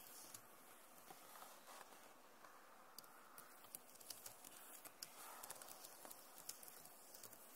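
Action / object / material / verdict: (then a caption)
tap / plastic laptop keyboard keys / plastic / none. Fingertips and nails tap the plastic keys of a backlit Acer laptop keyboard in a quiet, irregular run. Sharp, bright little clicks stand out over a soft, steady hiss, each one dying away almost at once.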